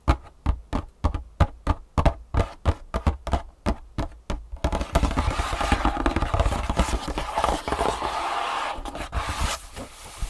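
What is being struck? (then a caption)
Cardboard box. Long fingernails of both hands tap the top of a long, hollow, printed cardboard shoe insole box lying flat on a wooden table. For the first few seconds there are separate, dull, hollow knocks. The tapping then turns into a fast, continuous rattle of nail taps and scratches across the cardboard, easing off near the end.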